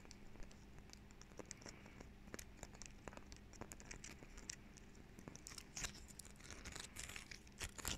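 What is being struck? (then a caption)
Small pine cone. A small dry pine cone is held in both hands while fingernails scratch and flick its woody scales. The result is a quiet run of crisp, bright clicks and scratchy crackles that gets denser and louder toward the end, over a low steady hum.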